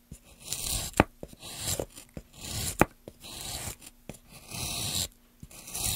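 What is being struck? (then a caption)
Wooden plank. A metal gouge held in gloved hands carves grooves into a solid, light wooden plank. Bursts of bright, rasping scraping strokes alternate with short sharp clicks and knocks at an irregular pace.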